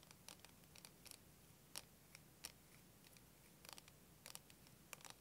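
Fingernails scratch and tap a clear, curved, wavy plastic liquid timer filled with green liquid and held horizontally. A quiet series of short, bright clicks and scratchy ticks stands out from a low, steady background noise, each one dying away almost at once.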